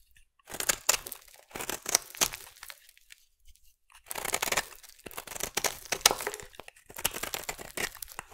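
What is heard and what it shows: A metal blade scrapes and shaves the edge of a solid blue bar of soap. It makes bursts of crisp, bright, crackly scraping and crunching, separated by short pauses, with a near-silent gap in the middle. The sound carries very little low end.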